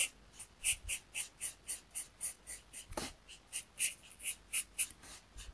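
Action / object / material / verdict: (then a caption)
scrape / marker tip on a paper sheet / paper / none. A marker tip held in the fingers rubs in short strokes across a thin, flat paper coloring sheet resting on a desk mat. It makes a steady series of soft, bright, hissy scratches with quick gaps between strokes, mostly high-pitched with little low end.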